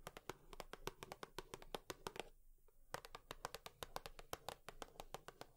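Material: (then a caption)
Cardboard. A cardboard tissue box is tapped with long nails in quick, uneven bursts of sharp, bright clicks, each with a short hollow body. The taps stop briefly partway through, then resume at the same brisk pace. Each click dies away almost immediately.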